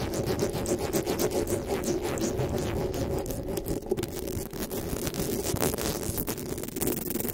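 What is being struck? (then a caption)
Metal mesh microphone grille. Fingers with long nails grip, rub and rapidly scratch the metal mesh grille on the head of a black desktop microphone. The result is a dense, continuous scratching and rubbing texture, heavy in the low-mids, with many quick crackly bursts and faint bright edges at a steady level throughout.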